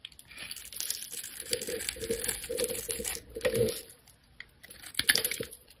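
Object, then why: Bar of soap cut with a metal blade. A metal blade cuts and scrapes the scored surface of a solid rectangular neon green soap bar held in the hand, shaving it into crumbs and strips. Dense, crisp scraping and crackling ticks with a bright, hissy edge run in steady bursts, pause briefly, then return with a few sharper snaps near the end.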